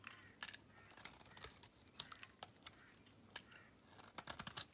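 A metal blade shaves flakes off a solid pink Camay bar soap held in the hand, the flakes piling up below. Quiet, bright, dry scraping and crisp ticks come in short bursts, with a few sharper clicks standing out. The sound is soft and close, with almost no low end.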